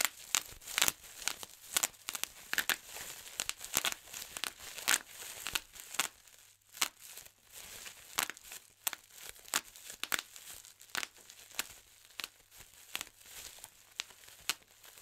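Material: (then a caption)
Plastic. Fingertips pinch and pop the air-filled bubbles of a large, clear plastic bubble wrap sheet one by one. The result is a steady run of sharp, bright snaps that die away almost instantly, with faint crinkling of the plastic between pops.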